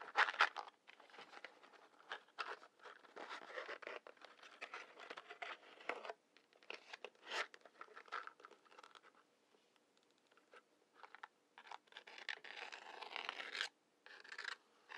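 A wooden match is taken out of a large cardboard matchbox full of matches, and its head is scratched along the box's side striker strip. Quick, dry scraping and crinkling bursts come in irregular clusters with short pauses. The sound is bright and papery, with no low rumble.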